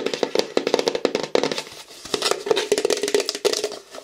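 A large, hollow, light-blue plastic bottle, held upright and then sideways, is tapped rapidly with fingernails. The result is a quick run of short, dry clicks with a hollow tone around 480 Hz, each dying away almost at once.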